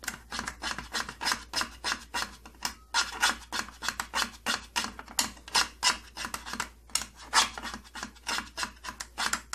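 Fingernails scratch and rub the purple plastic side panel of an opened tattoo kit case. Quick, uneven strokes of dry, bright rasping follow one another at about three per second, each short and papery with no ring.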